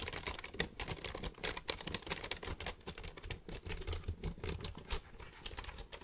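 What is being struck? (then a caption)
Plastic computer keyboard. A black plastic computer keyboard, held upright, is tapped by fingertips pressing and clicking its keys. A quiet, steady stream of rapid, short, dry clicks comes through, each with a bright tick over a soft low thump. The clicks die away almost instantly.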